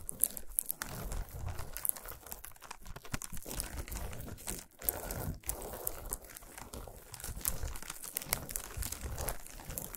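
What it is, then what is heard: Foil-wrapped chocolate bar. A flat, solid chocolate bar wrapped in shiny aluminum foil lies on a towel and is scratched and tapped with long nails. The foil crinkles and crunches in a dense, continuous stream of quick scratches and taps, with a low, muffled thump underneath and bright crackling on top.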